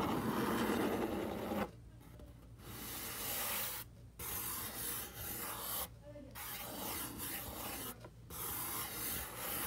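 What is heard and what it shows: Fingertips and short nails rub and scratch the surface of a large, hollow, brown corrugated cardboard box. The result is a dry, broadband scraping rasp in several sustained bursts separated by brief quiet pauses, loudest at the start and steady afterward.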